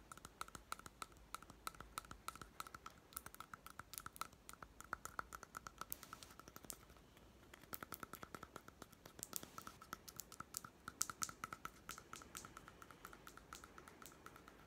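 Fingertips and short nails tap on the white plastic lid and side of a small hollow plastic toy pet food tin with a paper label. The result is a quick, continuous run of dry, bright clicks, each dying away almost at once, with a faint hollow tone around 1.2 kHz running under the taps. Short pauses near 7 and 12 seconds break up the stream.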